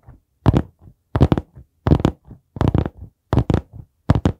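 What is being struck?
Hardcover notebook cover.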